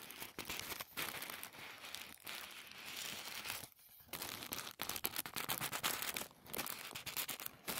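A folded sheet of thin white tissue paper is pressed, folded and crinkled by fingertips in both hands. Dense, bright crinkling and crackling fills most of the clip, broken by a few brief quieter pauses, with almost no low end.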